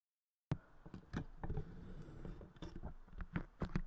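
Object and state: Putty clay pressed and tapped on a microphone.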